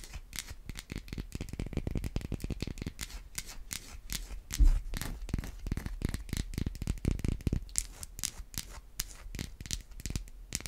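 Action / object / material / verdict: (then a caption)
scrape / bar of soap scratched and tapped with acrylic nails / soap / none. A solid white rounded bar of soap held in the palm is scratched and tapped with long white acrylic nails. Rapid, dry clicking taps and scratchy strokes run throughout, each tick short and crisp with a slight low thump, and one louder knock lands near the middle.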